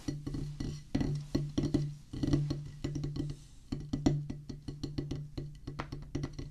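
Two wooden drumsticks rapidly tap a flat, solid oval practice pad with a black rubber playing surface on a light wooden base, resting on a wooden table. Quick, dry, woody taps come in uneven bursts with a low hollow tone and a very short ring.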